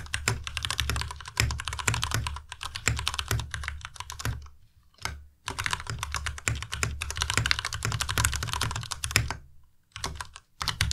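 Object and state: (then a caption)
Plastic mechanical keyboard. Fingertips type steadily on a white Ducky Miya Pro tenkeyless mechanical keyboard with plastic keycaps, producing rapid, tight clacks with a low thock underneath and a bright clicky top. The keystrokes come in flowing bursts, pausing briefly around the 5 and 10 second marks, and each stroke dies away almost instantly.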